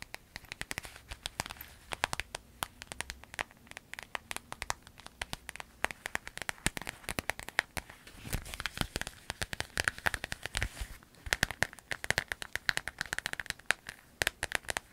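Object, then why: Small clear vinyl zip pouch. Long acrylic nails tap, scratch and crinkle a small, hollow clear vinyl zip pouch with yellow trim. The result is a dense, continuous stream of sharp, dry clicks and crackly crinkles, bright and brittle with little low end, pattering steadily like rain.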